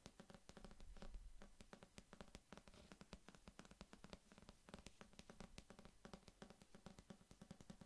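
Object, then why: Paperback book with glossy paper cover. Long fingernails tap and scratch rapidly on the glossy printed paper cover of a small, solid paperback novel held close to the mic. The result is a steady run of quiet, crisp clicks with very short decay over a soft, low scratching rustle.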